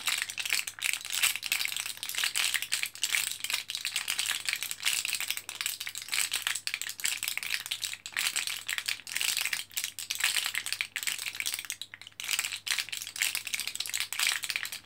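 An orange plastic-and-foil blister card of vitamin capsules, held in both hands with the foil side showing, is pressed by fingertips so the capsules rattle inside their pockets. The sound is a continuous run of dense, bright crinkling and tiny rattling clicks with short, dry decays, over a faint steady low hum.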